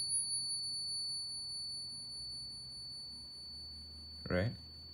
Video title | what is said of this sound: Ping Test - 24k Gold Buffalo vs 22k Gold Eagle - Better Sound! | You can already hear that the resonance is much, much better.